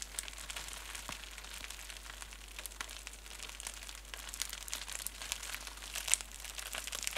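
A small crumpled piece of clear plastic bubble wrap is squeezed and rubbed between fingertips and nails, giving a steady, quiet stream of dense, bright crinkling and crackling. The rustle stays high and crisp throughout, with a sharper snap standing out near the end.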